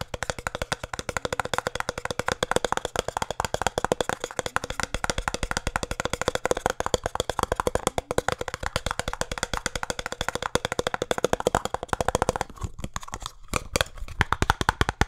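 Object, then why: Small cardboard box. Fingertips tap rapidly on the faces of a small, hollow cardboard speed cube box held close to the mic, making a fast, steady stream of short, dry, hollow knocks. Near the end the tapping briefly thins out and softens before picking back up.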